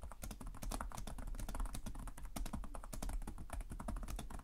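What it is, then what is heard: Plastic laptop keyboard. Both hands type continuously on a black laptop's plastic chiclet keys, producing rapid, dense fingertip taps with short, sharp clicks that barely ring out. A steady low hum sits underneath the clicking throughout.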